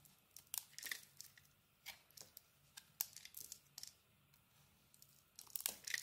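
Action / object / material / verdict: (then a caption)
scrape / soap bar cut with a metal blade / soap / none. A metal blade carves slices off a solid bar of soap with a pink and black marbled coating and a cream-colored inside. The clip is a quiet series of short, crisp, bright scraping and crunching bursts as the blade cuts through, with faint low hum between strokes. Each cut dies away almost instantly.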